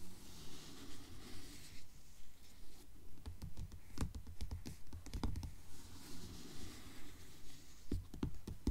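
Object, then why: Paperback book with card cover. Long nails tap and scratch the cover of a blue paperback book lying flat on a table. Soft, dull rubbing scratches mix with quick, sharp taps that come in short bursts, and each tap dies away almost at once.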